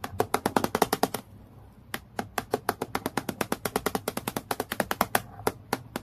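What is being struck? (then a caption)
Acrylic plastic clipboard. Long nails tap rapidly on the sheet near the top edge of a transparent acrylic plastic clipboard lying flat, making about 40 crisp, dry clicks with a hollow plastic tone around 430 Hz and a bright edge. A quick flurry of taps is followed by a brief pause, then steady tapping resumes to the end, each click dying away almost instantly.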